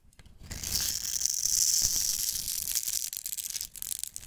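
A black-handled knife blade scrapes along the edge of a solid, hand-sized, green-and-white striped soap bar held in the hand, crumbling it into shavings. The sound is a bright, dry, hissing scrape that runs steadily for about two and a half seconds, then breaks into rougher, choppier scratches toward the end.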